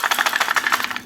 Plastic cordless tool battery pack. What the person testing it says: you can kind of hear them rattling around in there